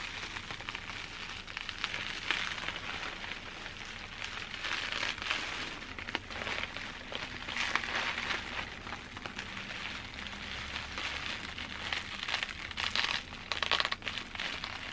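Hands with long dark-painted nails squeeze and scratch a large crumpled sheet of clear plastic bubble wrap with hollow air-filled bubbles. The result is a steady, dense, bright crinkling and crackling with quick sharp ticks and little low-end weight, swelling into louder bursts now and then.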